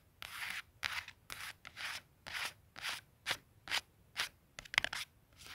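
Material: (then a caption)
Cardstock. Fingertips and short nails scratch and rub a small, flat, white cardstock clothing price tag with a barcode and punched hole as it lies on a plaid wool blanket. The result is a string of short, dry, bright scratching bursts at an uneven rhythm, separated by near silence.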